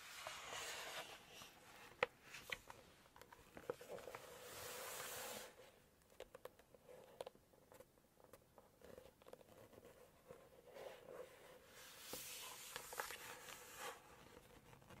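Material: Coated paper.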